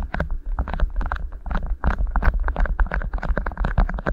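Two rolled beeswax-coated cotton food wraps sitting over the microphone capsules are pinched and crinkled by fingertips. The result is a dense, rapid run of short, dry crackles and crinkles over a heavy, boomy low rumble from handling close to the mic.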